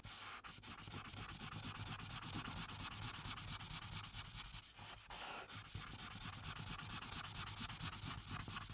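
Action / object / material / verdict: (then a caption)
scrape / paper sheet on a clipboard, felt-tip marker / paper / none. A felt-tip marker rubs back and forth over the lower left of a thin paper colouring page clipped to a dark clipboard, colouring it blue. The strokes make a steady, bright, scratchy rubbing with a short pause around the middle before the rapid strokes resume.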